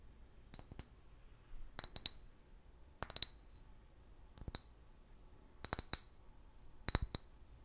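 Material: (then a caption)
Glass. An empty, large, hollow clear glass liquor bottle with a paper label is held sideways and tapped with long fingernails. Quiet, bright clinks come in small clusters of two or three taps, with a high ringing tone and a very short decay.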